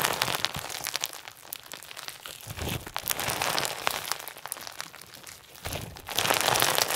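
Pink and white crunch slime, a clear, solid, soft mass filled with plastic sequins, is stretched and pressed between fingers and thumbs. Dense, bright crinkling and crunching crackles pour out in irregular rapid bursts, swelling louder near the end.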